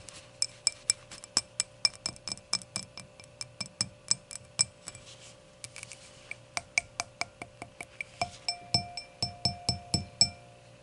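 Long nails tap the edge and face of the round, solid glass foot of an empty hurricane glass lying on its side. About 38 sharp, clicky taps land in an uneven rhythm, each with a bright, glassy ping that dies away almost at once. Toward the end, some taps add a slightly lower ringing tone.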